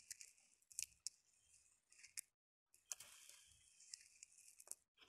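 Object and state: Dried split chickpeas.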